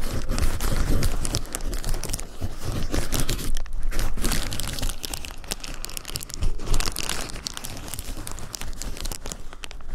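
Fingertips press, pinch and crinkle a large sheet of clear plastic bubble wrap with hollow, air-filled bubbles lying on a dark surface. Dense, continuous crinkling is broken by quick, sharp crackles and soft pops, with a heavy low-end rustle beneath bright, brittle snaps.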